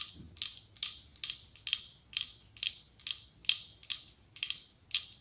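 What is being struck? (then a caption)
Glass candle holder. Long acrylic nails tap and scratch the side of a medium cylindrical glass candle holder decorated with autumn leaves, with a white candle inside. A quick, somewhat irregular series of bright, dry clicks and short scrapes sounds with almost no ring and no low end.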